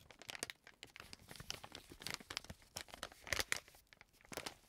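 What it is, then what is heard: Plastic wet wipes pack being crinkled. A green plastic-film wet wipes pack lying flat on a table is rubbed and pressed with fingertips and nails, then picked up and crinkled. The result is a dense stream of dry, bright crackles and crisp rustles with almost no low end, each snap dying away almost instantly, growing louder and sharper when the pack is crumpled in the hand.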